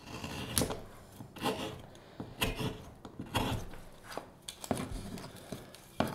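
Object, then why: Wooden spoon blank. A steel hook knife scrapes and cuts the bowl of a solid, light wooden spoon blank with a curved handle, held up in the hand. Short, raspy, broadband scraping strokes come in irregular bursts with quiet gaps between them, each stroke bright and dry with almost no ring.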